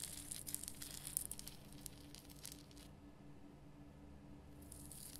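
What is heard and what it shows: Long nails scratch and tap the rough surface of a large, glowing pink Himalayan rock salt lamp, a solid salt block, making bright, gritty crackles and small clicks. The scratching is busiest in the first three seconds, then fades to a quiet stretch before returning softly near the end. A steady low hum runs underneath throughout.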